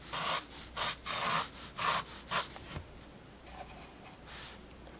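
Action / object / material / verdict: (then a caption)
scrape / fineliner pen on a paper sketchbook page / paper / none. A fineliner pen draws long sweeping lines across a page of a spiral paper sketchbook, making a quick series of bright, scratchy strokes. The strokes are loud and rhythmic for the first few seconds, then fade to softer, fainter scratches over a low background hush.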